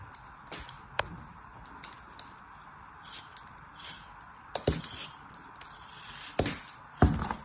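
A palm-sized, solid molded kinetic sand turtle figure is held in one hand while a metal craft knife blade cuts and scrapes into it, slicing off thin slabs. The clip has soft, gritty scraping and crumbling textures punctuated by short, sharp cracking snaps, with a few louder chops near the end.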